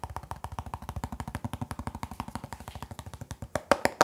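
Fingertips rub and scratch the printed lid of a hollow, closed hard plastic pencil box with a Hulk print, held near the microphone. A fast, steady run of short, dry scratching strokes gives hollow knocks with a midrange rasp and almost no ring. The last few strokes turn louder and brighter.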